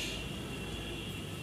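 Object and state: Nothing is struck.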